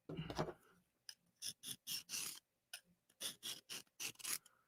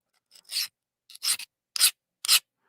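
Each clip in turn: First: Quick hissing strokes of a soft steel blade across a diamond plate, with a dull, mushy grind rather than a glassy skate. Second: Four quick, bright, glassy scrapes of a hard steel blade skating over a diamond plate.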